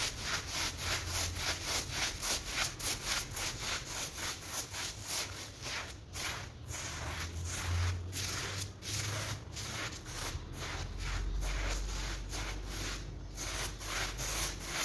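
Gloved hands scrub a dirty, patterned woven rug lying flat on a terrazzo floor and covered in soap foam, using a small hand brush. Steady, slightly uneven brushing strokes come at roughly two per second, each a bright, wet, bristly rasp over a low rumble that continues throughout.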